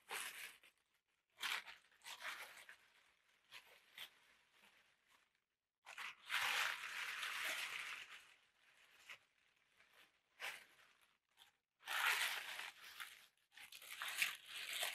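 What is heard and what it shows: A large sheet of thin black packing tissue paper is held and crumpled with both hands, making bright, papery crinkling and crushing sounds. The sound comes in irregular bursts with short quiet gaps, the longest and loudest around the middle and the end.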